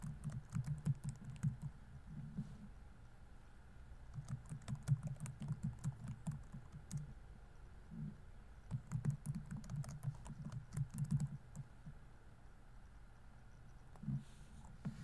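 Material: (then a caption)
Plastic. Fingertips type on a laptop keyboard with plastic keys, an open book lying still beside it. Quick runs of soft, dull key clicks, low and thumpy with almost no ring, come in three bursts separated by short pauses, plus a few isolated taps near the end.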